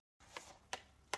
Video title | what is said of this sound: Katherine House Hospice Collectables Gable End Wall | testing allows us to identify areas of the surface covering that have become delaminated from the render below it makes a hollow sound